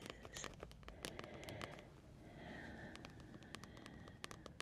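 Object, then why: Paperback book with glossy card cover. Long nails tap and scratch on the glossy card cover of a large, thick paperback coloring book lying flat. Quiet, sharp clicky taps with very short decay are scattered through the clip, over a soft, continuous scratching and scraping that swells into a brighter rasp in the middle.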